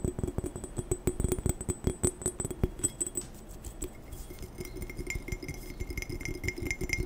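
A glass tumbler is tapped quickly and aggressively for ASMR, producing a fast, chaotic run of sharp clinks with dull low thumps and a bright glassy ring. Partway through, the taps soften briefly, then return as quicker chinks with a clear mid-high ringing tone.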